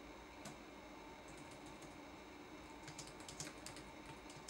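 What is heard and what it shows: Fingertips press the plastic keycaps of a red-backlit laptop keyboard, making quiet, scattered typing taps. Each tap is a soft, bright click over a low, steady background hiss, with the taps growing more frequent toward the end.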